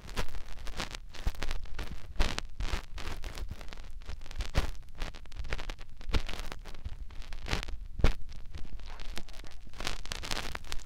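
Fingertips rub and scratch the canal opening of a white, soft silicone ear mounted on a white binaural microphone body. The result is a continuous close-up stream of crackly scratching and rustling, heavy in low, muffled rumble, with sharp bright crackle bursts scattered throughout and no speech.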